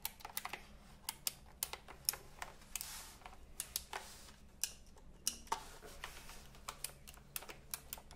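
Fingertips press and tap the round plastic keycaps of a retro typewriter-style computer keyboard, held first horizontally and then upright. The result is about 28 sharp, bright clicks in an uneven rhythm, each dying away almost instantly, over a faint steady low hum.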